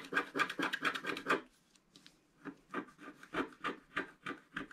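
A wooden stylus stick scratches across the lower part of a flat black coated scratch art paper sheet. A quick run of bright, raspy scratching strokes is followed by a brief near-silent pause. Then come slower, softer, evenly spaced scraping strokes.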